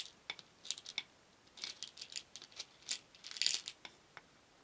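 Many small painted wooden beads in a shallow wooden bowl are stirred with a wooden spoon, so they rattle against each other and against the bowl. The sound is quiet, bright, dry clicking in short, irregular bursts, with almost no low end, and each burst dies away quickly.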